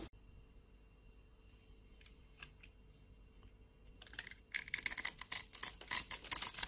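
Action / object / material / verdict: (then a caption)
scrape / bar soap / soap / none. A blade scrapes grid-scored flakes off a solid white rectangular bar of soap held in the palm. After about four seconds of near silence with a few faint ticks, bright, crisp scraping bursts start and grow louder in an irregular rhythm until the end.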